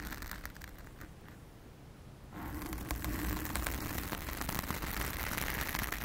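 A blue foam windscreen covering a round studio microphone is scratched with the long acrylic nails of both hands. The result is dense, crackly rustling and scraping with a low rumbling body. It quiets briefly near the start, then returns louder and brighter for the rest of the clip.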